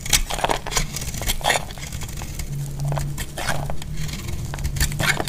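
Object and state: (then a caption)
Bar soap being shaved. A solid, hand-sized orange NOVA bar soap is held in the hand and shaved into curls with a utility knife blade. Quick, crisp scraping strokes crackle and flutter with bright, papery bursts over a steady low hum.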